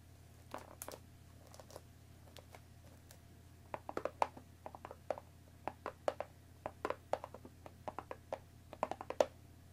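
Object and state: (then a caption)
Cellophane-wrapped cardboard tea box. Long nails tap the top of a hollow cardboard Earl Grey tea box wrapped in plastic film, held and resting on a wooden table. Quick, dry, crinkly clicks come sparse and soft at first, then grow denser and louder after about four seconds, each dying away almost instantly over a faint steady low hum.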